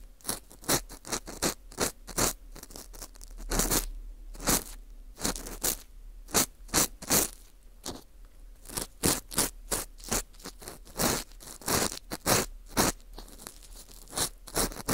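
An orange plastic earpick scrapes the edge of the hole in a porous dried wheat gluten ring (fu) held in gloved hands. It makes a steady run of short, dry, bright scraping and crunching strokes over a quiet background.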